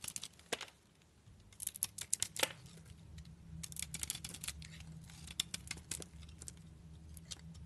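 A utility knife blade shaves pieces off a solid soap bar with a red coating and white interior, held in a hand with long nails. Short, crisp scraping and crackling bursts come in irregular clusters, bright and dry with almost no ring, over a faint low steady hum.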